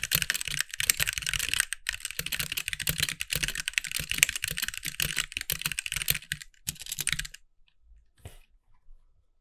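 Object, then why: Mechanical keyboard with plastic keycaps. A compact backlit mechanical keyboard with white plastic keycaps is typed on with the fingertips of both hands. A fast, steady stream of bright, sharp clacks with a light low thump runs for about seven seconds, then stops, leaving only a few faint ticks.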